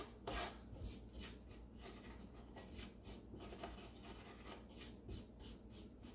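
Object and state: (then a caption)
Wooden drawer bottom being rubbed. Bare fingertips and a palm rub and sweep across the flat wooden bottom panel of an empty, open light-wood kitchen drawer with crumbs on its base. Quiet, dry rubbing and brushing strokes repeat in bright, rasping bursts over a steady low background rumble.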